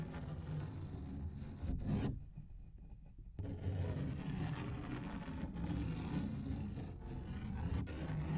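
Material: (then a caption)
Paper. A large, thin paper coloring book page is held in both hands in front of the mic while fingertips and nails scratch and rub across it. The result is a steady, low, rumbling scrape and rustle with little brightness. It dips quieter for about a second in the middle, then continues.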